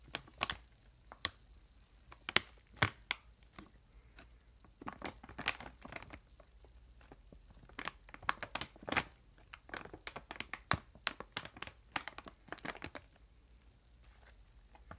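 Long acrylic nails scratch and press the film of a metallized plastic chip bag, producing quiet, bright crinkles and crackles. Short, sharp bursts come irregularly over a low hiss, with no ringing between them.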